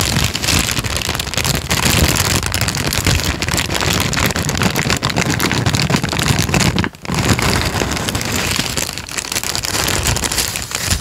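A thin, folded, light-brown paper sheet is squeezed and crinkled by fingertips in front of the microphone. The result is a dense, continuous stream of crackling rustle with a low rumble and bright crisp edges. The sound drops out briefly near the seven-second mark before resuming.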